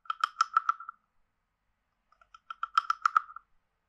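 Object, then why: Carved wooden frog guiro scraped with a wooden stick. A wooden stick is scraped along the ridges of a hand-sized, hollow, carved wooden frog guiro. It makes two quick bursts of dry, rattling clicks with a hollow, woody tone centered near 1.3 kHz and bright upper edges. Each click stops almost instantly, with a short silence between the two runs.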